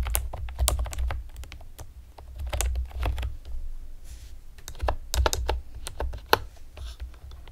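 Long painted nails and fingertips tap rapidly on a pastel plastic typewriter-style computer keyboard with round retro keycaps and hollow keys. Each keystroke is a short, bright, hollow plastic click with almost no ring. The clicks sit over a steady low hum.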